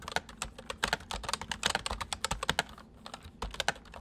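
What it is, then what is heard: Plastic mechanical keyboard being typed on. Fingertips of both hands type on a white, full-size MSI plastic mechanical keyboard with hollow keys. A quick, uneven run of sharp, bright clacks fades almost instantly after each stroke. The typing pauses briefly before resuming.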